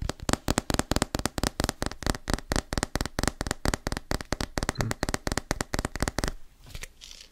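A medium plastic pre-workout tub with a white plastic lid, apparently hollow with its fill level not visible, is handled and tapped with the fingertips on its body and lid. A fast, uneven run of short, dry taps with a hollow low thump and almost no ring fills the first six seconds, then fades into quieter, softer handling sounds.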